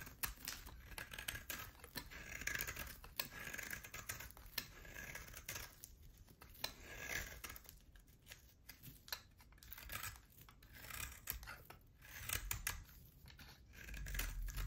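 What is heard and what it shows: A utility knife blade shaves a solid oval bar of hard soap with a pale core and a black dotted rim. Quiet, dry scraping comes in quick crisp bursts with bright, crackly texture and a faint low rumble underneath.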